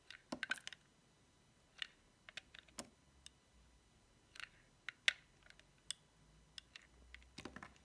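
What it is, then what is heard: Bar of dry soap being cut. A small, solid cream-white bar of dry soap decorated with a cat and paws, held in fingers with long painted nails, is shaved and cut with a metal utility knife blade so curls of soap peel off. Quiet, dry, bright crackling clicks and short scrapes come in scattered bursts, each snapping off almost instantly with no ring.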